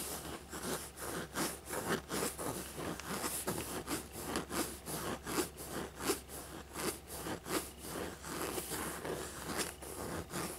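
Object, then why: Faux leather backpack. Fingertips and nails rub and scratch the embossed surface of a small, hollow, black textured faux leather dragon backpack with bat-wing detail. Dry, crackly scraping strokes repeat at an uneven pace over a steady low hum, each one brief with no ring.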